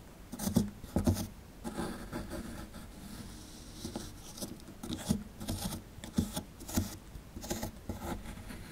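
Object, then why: Plaster dig block scraped with plastic chisel. A plastic chisel tip scratches and picks at a solid plaster excavation block held in the hand, working around a skeleton's tail and legs. Quiet, dry scraping alternates with short, sharp picking taps that have a dull low body and brief bright edges, each dying away almost at once.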